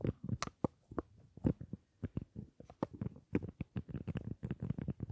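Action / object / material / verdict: tap / small metal and plastic lipstick case / metal, plastic / none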